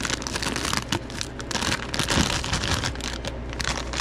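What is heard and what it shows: A hand-sized, partly full clear plastic bag of wrapped taffy is opened, crinkled and squeezed by gloved fingertips. Dense, continuous crinkling and crackling fills the clip, bright in the highs and steady in level, with small sharper crunches scattered throughout.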